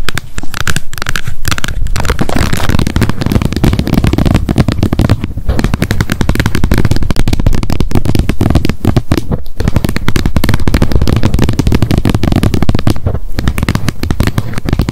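Long nails tap rapidly on the plastic lid of a wet wipes pack held upright, striking both the lid and its edge. The result is a dense, continuous stream of short, dry clicks and taps with a heavy, close low thump beneath them, running steadily for the whole clip.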